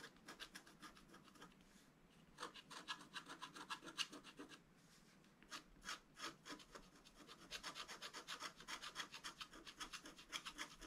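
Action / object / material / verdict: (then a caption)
scrape / scratch-art card scratched with a wooden stylus / coated paper / none. A thin wooden stylus scratches a flat, black-coated scratch-art card held down by one hand. It makes quick runs of short, bright, rasping strokes at roughly four per second. Brief pauses come near 2 seconds and around 5 seconds before the scratching picks up again.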